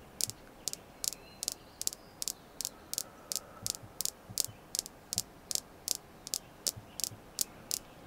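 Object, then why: Small polished red jasper star. A small, solid, polished red jasper star is tapped with long nails in a steady rhythm, giving 22 short, sharp, bright clicks. Each click dies away almost instantly over a quiet background hiss.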